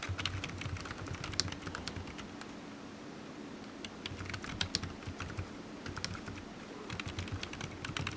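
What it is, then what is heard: Plastic computer keyboard. Fingertips type on a low-profile black plastic computer keyboard resting on a desk mat, its hollow keys giving light, bright clicky taps over a steady low hum. The tapping comes in quick bursts with a short quieter pause near the middle, then picks up again toward the end.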